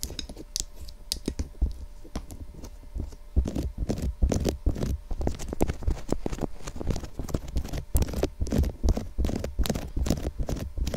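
Long acrylic nail tips tap rapidly on the top and sides of a white, hollow, box-shaped plastic SR3D binaural microphone housing about 25 cm long. The taps come as dense, irregular clicks, each with a heavy low thump and a sharp bright edge that dies away almost instantly.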